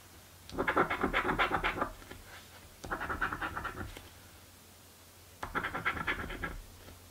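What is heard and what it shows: A coin held between the fingertips rubs the scratch-off coating from a thin card crossword scratch-off lottery ticket lying flat on a table. Three bursts of quick, rasping scratch strokes are heard, each about a second long, with a gritty midrange tone centred near 1.4 kHz. Short quiet pauses separate the bursts.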